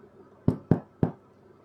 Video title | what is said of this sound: Pain au levain, blé ancien, sans materiels | Ce qui est important, c'est que ça sonne creux. Et là, ça veut dire que c'est bien cuit.